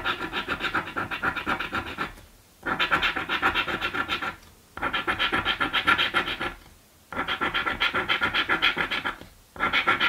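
A coin scrapes the latex scratch-off panels on a green paper scratch lottery ticket lying flat on a table. The bright, gritty scraping comes in rapid back-and-forth strokes, about three or four a second. It plays in five stretches separated by four brief quiet pauses.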